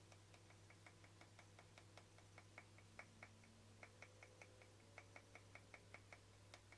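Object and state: Plastic lid tapped with fingernails.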